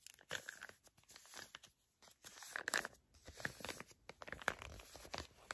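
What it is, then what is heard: Foil face mask sachet crinkled. Long nails crinkle and scratch a flat, filled, printed foil and plastic face mask sachet. The result is quiet bursts of dry, crackly rustling and scraping with bright, sharp crunches, broken by short pauses.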